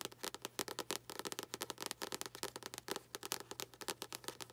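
Long nails tap the glossy card cover of the same paperback book, held upside down, in a fast, uneven run of about 31 crisp, dry clicks. Each tap is bright and dies almost instantly, over a faint steady low hum.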